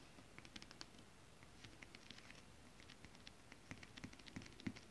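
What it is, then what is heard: Holographic scale-print fabric tapped with nails. Both hands tap long acrylic nail tips on flat holographic mermaid scale-print fabric, giving soft, quick, irregular clicks with a bright tick on top and a dull low thump underneath. The quiet taps come in scattered bursts over a low steady hiss, each dying away almost at once, and they grow a little busier and firmer toward the end.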